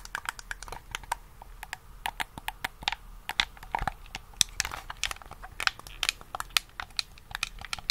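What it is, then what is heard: Plastic game controller buttons. Thumbs and fingertips press and tap the buttons and triggers of a black, hollow, handheld plastic game controller held in both hands. The result is a rapid, irregular, typing-like series of short, bright plastic clicks with almost no ring, over a quiet background.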